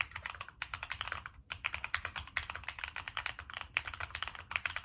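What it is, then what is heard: Mechanical keyboard with metal case and plastic keycaps. Fingertips type continuously on a Monsgeek M1 mechanical keyboard with a black aluminum case, plastic keycaps and NK Cream switches. The result is a rapid, uneven stream of bright, short clacking keystrokes that die away almost instantly, with a few brief pauses between bursts.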